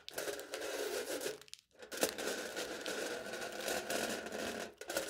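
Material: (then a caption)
Aluminium foil. Aluminium foil stretched over a hollow plastic cup held in the hand is scratched and pressed with the point of a knife. Continuous crinkly, scratchy scraping fills the clip with a bright hiss, broken by a brief near-silent pause before the scratching resumes, and dips again near the end.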